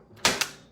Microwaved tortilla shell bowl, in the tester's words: it becomes this crispy it's crazy did you actually hear that